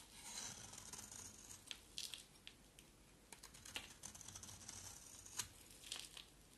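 A small solid oval white soap bar with a black outer layer is scraped with a box-cutter blade, peeling off soap curls. Dry, bright, scratchy scraping comes in quick overlapping strokes with sharp clicks and brief rasps. The sound is quiet and mostly high-pitched, with almost no low end.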